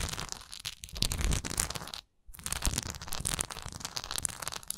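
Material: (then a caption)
Wax. Long nails tap and scratch the textured side of a large solid wax pillar candle with a raised swirl relief. The result is a dense run of dry, crackly scratching and quick taps with a bright, rough texture over a low thump, broken by a brief silence midway before it resumes.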